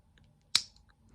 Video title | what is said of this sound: Unboxing / Short Review of the SMKW Exclusive Spyderco PM2 | That's not a good sound coming from the lock. It shouldn't take that much force to use the compression lock.